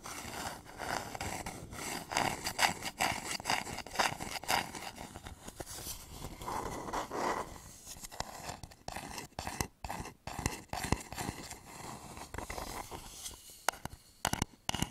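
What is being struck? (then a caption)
Wooden bowl. A hollow, polished wooden bowl is held upside down over a microphone while fingernails scratch and tap its side. Dense, brushy scratching rings with a hollow midrange resonance, then gives way to sharper, irregular taps and short scrapes separated by brief pauses.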